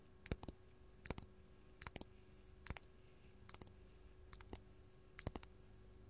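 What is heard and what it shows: Long gold metal claw nails tap a large, solid, faceted purple artificial glass crystal held in the hand. Sixteen short, bright clicking taps come mostly in quick pairs, each dying away at once over a low, steady background hum.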